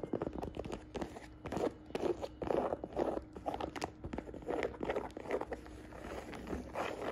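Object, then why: Jacquard canvas saddle bag. Fingertips and nails tap and scratch the woven fabric of a hollow navy and beige jacquard canvas saddle bag with a leather strap. Quick, soft, crunchy taps mix with scratchy rustling in a dull midrange, each hit dying away almost at once.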